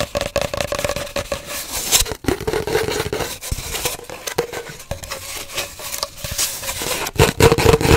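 Long nails tap and scratch rapidly and irregularly on an empty, hollow cardboard paper towel roll held horizontally. The result is a dense, crackly stream of dry clicks and scrapes over a faint hollow ring from the tube, with the loudest, brightest taps near the end.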